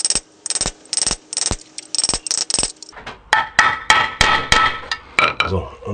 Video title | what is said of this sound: Quad Getriebe macht Geräusche, Getriebe überholen, Kugellager wechseln | da hört man, dass es am Anschlag war oder am Anschlag ist